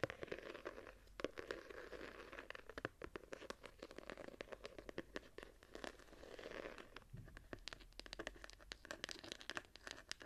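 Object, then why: Embossed hardcover journal. Long nails scratch the embossed cover and edges of a small, ornate gilded hardcover journal with a gold-patterned cover, held in hand. The result is a quiet, steady run of dry, crinkly scratching and scraping, dotted with many short, sharp ticks that stop almost instantly.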